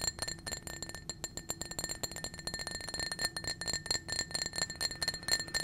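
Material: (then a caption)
Glass. A small, clear, blue-tinted glass drinking cup, hollow and apparently empty, is held in a hand and rapidly tapped and scratched with painted fingernails. The result is a fast, dense run of bright, high glassy clinks, each with a very short ring, mixed with soft scratching.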